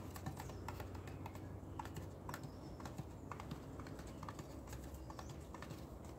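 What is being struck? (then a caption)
Cardboard powder canister with metal ends. A green, hand-sized cardboard Comet cleanser canister with a metal top and bottom, hollow and partly full of powder, is held in blue-gloved hands and tapped rapidly with gloved fingertips on the metal end and the body over a tub of dry powder. The result is a quick, steady run of soft, dull clicks with a faint hollow ring that dies away quickly, over a low, constant background rumble.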